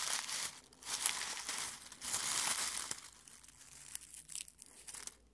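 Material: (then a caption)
Dried petals. Fingertips rub, scratch and crumple dry rose petals in a clear glass bowl full of them. The result is a bright, papery crinkling and crunching that comes in soft, uneven bursts, rising and fading with almost no low end.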